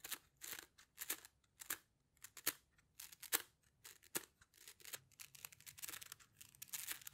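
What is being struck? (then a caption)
Plastic coil spring toy. A rainbow plastic slinky, a hollow coil, is compressed and released between the hands, its coils clicking together. Quick bursts of bright, crisp clicking and rattling come in irregular clusters, each dying away almost instantly, with little low-end weight.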